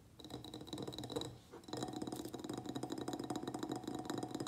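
Fingernails of both hands tap rapidly on the sides of a medium white ribbed ceramic pot filled with soil and a begonia plant. The result is a fast stream of light, clicky ceramic taps with a faint ringing tone. The taps pause briefly, then resume more steadily.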